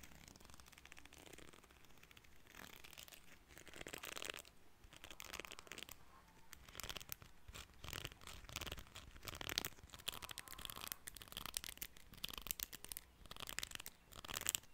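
Fingertips and nails strum and scratch the fine teeth of a small, solid cream plastic hair comb. The result is a quiet, dense run of bright, dry rasps and quick ticking flicks that die away instantly, swelling and easing in bursts throughout.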